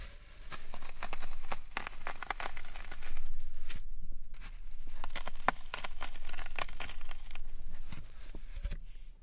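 Fingertips with long nails repeatedly press and crush into the surface of a large, solid green floral foam brick resting on a wooden tray, leaving dents. The result is a dense, irregular stream of short, dry crunches and crackles that swell and fade in waves, with no ringing after each press.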